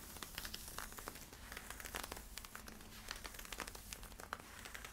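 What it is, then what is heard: Stretch polyester-spandex leggings, scratched. Fingertips and nails scratch worn camo polyester-spandex stretch leggings at the waistband and side. The result is a quiet, steady stream of crinkly, bright scratching with many quick rasping strokes. Each stroke dies away almost at once, and no voice is heard.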